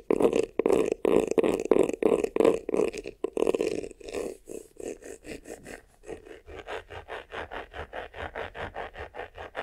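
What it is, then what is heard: Textured faux-leather vanity case being scratched. Fingertips and nails scratch fast across the front and top of a medium, hollow black croc-embossed faux-leather vanity case. The first four seconds bring loud, dense, raspy strokes centred around a mid-range hum with bright texture. These then give way to quieter, quicker, more evenly spaced scratches.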